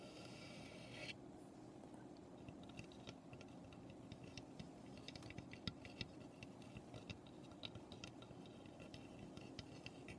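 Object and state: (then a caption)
Unfinished wooden birdhouse. Long painted fingernails tap and scrape across the roof panels and front of a small, hollow birdhouse made of light, unfinished pine. Quiet, dry clicks and brief scratches are scattered over a steady low hum, after a bright hiss in the first second.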